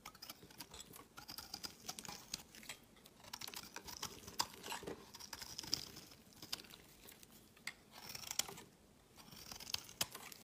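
A metal utility knife blade shaves fine flakes from a solid, palm-sized white rectangular bar of soap held in the hand. The quiet, bright scraping and carving comes in crisp, crackly bursts of short strokes, with a high hiss and almost no low end.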